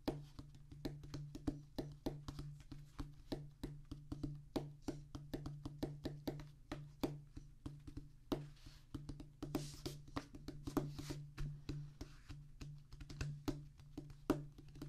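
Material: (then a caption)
Rubber. Fingertips of both hands drum rapidly on a solid, flat oval practice pad with a black rubber top on a tan cork-like base. The result is a quick, uneven stream of short, dull, muffled taps that die away almost instantly, with a steady low hum underneath.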